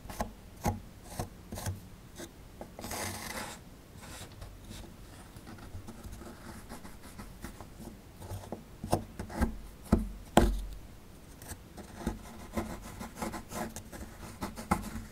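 A small solid plaster excavation block is held in the hand and scraped with a metal pick tool. Quiet, irregular rasping and scratching strokes mix with sharp clicks and taps, with a brief bright hiss near three seconds and the loudest ticks around ten seconds.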